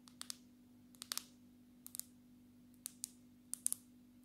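Long natural nails of both hands tap on the glass back of a black smartphone held upright, making short, sharp, bright clicks in small clusters with quiet pauses between them. Each tap dies away almost instantly over a steady low hum.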